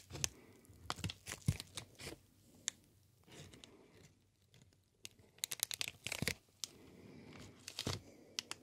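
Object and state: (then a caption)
Plastic air cushion packaging sheet. A green inflated plastic air cushion packaging sheet is bent and crinkled by fingers. Quick, bright crackles and crinkling snaps come in uneven bursts separated by quiet pauses, each one dying away almost instantly.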